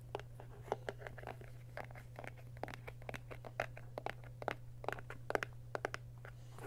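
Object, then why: Plastic glue bottle with paper label. Fingertips and short nails scratch and rub the paper label and body of a handheld, hollow white plastic school glue bottle. The result is a quick, uneven series of dry, crinkly scratches and sharp clicks with a papery crunch, over a steady low hum.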